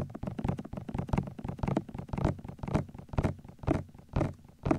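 Thumbs tap and knock on the tops of the white, hollow silicone ears of a 3Dio binaural microphone while hands hold them. The result is a steady run of muffled, hollow thumps, about two per second, heavy in low frequencies, with quick, dry decays and a few louder knocks standing out.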